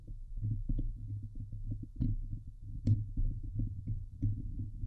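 Both hands scratch the hollow steel wire-mesh grille of a Blue Yeti microphone head with long glitter-painted nails. The result is a dense, muffled run of low, boomy scratches and thumps over a steady low hum, with a few brighter, sharper ticks cutting through.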